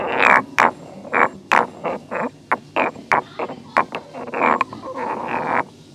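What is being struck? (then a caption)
Stone mortar and pestle. A solid stone pestle is rotated and ground by hand inside a hollow, grey carved stone mortar whose contents are not visible. Short, gritty scraping bursts come in an irregular rhythm, each a rough mid-range rasp with bright, sharp edges, separated by brief quiet gaps.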